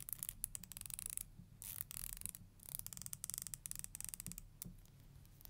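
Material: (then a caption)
Plastic. Long nails run along and strum the teeth of a thin, solid black plastic hair comb held in the hands. Rapid bursts of bright, dry clicking scratches come in quick runs, with a short pause in between, over a faint low rumble.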